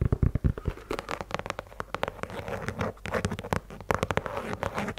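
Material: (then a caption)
Rubber. Long nails scratch across the tread and along the side of the rubber sole of a white leather sneaker. The result is a dense, rapid run of short, dry scratching clicks and taps, with a few heavier low thumps at the start.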